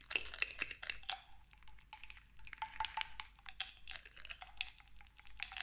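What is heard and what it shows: Long nails tap repeatedly on the black pump top of a clear glass cosmetic pump bottle partly filled with clear liquid. The taps are quick, bright clicks, with a faint ringing tone around 2.7 kHz and a lower ring near 800 Hz between bursts.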